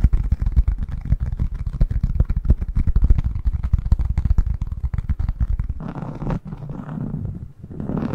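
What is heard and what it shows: A thin yellow honeycomb beeswax sheet is held flat while fingertips tap and scratch its textured surface. For the first six seconds, rapid, dense, dull low taps patter almost continuously. The sound then shifts to a softer, brighter scratching rustle that fades briefly before picking up again.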